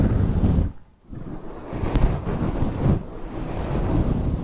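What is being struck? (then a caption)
Faux fur microphone windscreen. A large fluffy grey faux fur microphone windscreen is scratched by long acrylic nails on both hands. The result is a dense, low, rumbling rustle, much like wind buffeting a mic. It drops to near silence for a moment, then comes back as steady scratching with a faint bright tick partway through.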